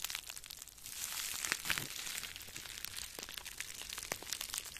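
Two small balls of clear plastic bubble wrap, one in each hand, are held in front of a microphone and squeezed and crinkled with the fingers. A steady, bright, dense crinkling fills the clip, with sharp little snaps and pops scattered throughout and almost no low end. It swells slightly louder around the first to second second.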